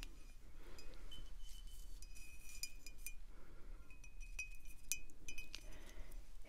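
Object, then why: Glass wine bottle tapped with fingernails. Long acrylic nails tap on a full, full-size dark glass wine bottle held up, striking both the glass and its label. Irregular light clinks ring with a clear tone near 2.5 kHz and bright high overtones, each fading quickly over a low rumble.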